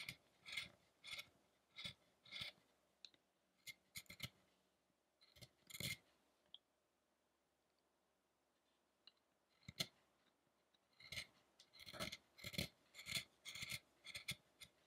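A chisel scrapes and carves the solid light wood near the head of a carved wooden statue of the ascetic Shakyamuni Buddha. Short, bright, dry scraping strokes come in uneven bursts, with a quiet pause in the middle before the carving resumes at a quicker pace.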